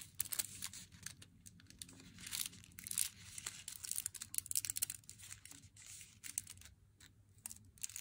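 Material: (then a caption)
Cardboard. Fingernails tap rapidly along the edge of a cardboard box of Meiji Black chocolate, which opens at the end with a flap revealing the foil-wrapped bar inside. The taps are quiet, dry and bright, with crisp crinkly clicks that stop almost instantly and almost no low end.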